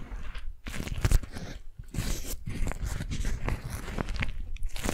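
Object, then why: Beeswax-coated cotton food wrap. A strawberry-print beeswax-coated cotton food wrap, crumpled into a small bundle, is squeezed and crinkled by long nails. Dense, close crunching and crackling comes in bursts with brief pauses, and most of the energy sits low.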